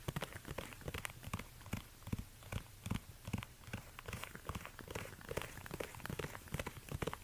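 Fingertips in orange rubber gloves rapidly tap and scratch the suede side of a hollow, empty black suede ankle bootie with a stiletto heel, resting on a fur rug. Quick, irregular, muffled taps with low thumps mix with soft, brushy scratching. Each sound is dry and dies away almost instantly.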